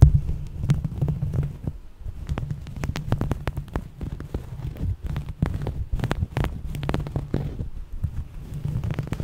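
A soft, coarse-weave beige fabric, linen- or knit-like, is held up and bunched in both hands while long manicured nails and fingertips scratch and rub its textured surface. The sound is a steady stream of close, rapid scratching with a low, rumbling undertone and many short, dry crackles.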